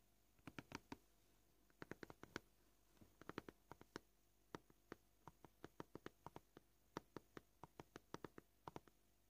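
Short, polished fingernails of both hands tap on a flat, scratched, solid white plastic cutting board. Quiet, dry clicks come at an uneven pace, with quick clustered runs and spaced single taps. Each tap has a soft mid-pitched knock with a bright tick and stops almost instantly, with no ring.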